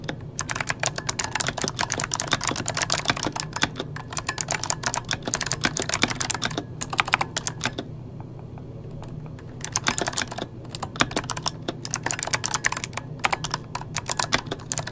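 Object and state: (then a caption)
Plastic mechanical keyboard. Fingertips of both hands type fast on an RGB-backlit mechanical keyboard with plastic keycaps, making dense bursts of sharp, bright clicking clacks over a steady low hum. The typing briefly stops around the middle of the clip, then resumes at the same rapid pace until the end.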